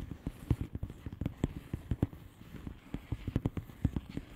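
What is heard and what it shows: Long polished nails tap and scratch across the bubbles of a flat, hollow plastic bubble-wrap mailer lying on a surface. About twenty soft, dull, low taps come in an uneven patter, each dying away almost at once, with faint scratchy rustling between them.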